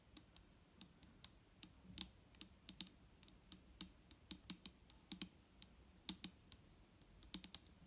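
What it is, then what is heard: Plastic bottle of liquid, tapped. Long nails tap gently on the label and body of a large, clear plastic micellar water bottle that is nearly full of liquid and lying on a wooden table. The result is a quiet, uneven series of separate, crisp clicks, each with a bright tick on top and a soft, low body underneath. Every tap dies away almost instantly.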